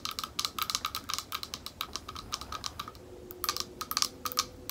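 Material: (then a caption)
Glass. Long nails tap rapidly on the curved surface of a small, thick, clear glass bowl held up in both hands, hollow and empty. Crisp, bright clicks come in quick irregular bursts, with a brief lull near the three-second mark before the tapping picks up again. Each tap dies away almost at once, leaving little ring.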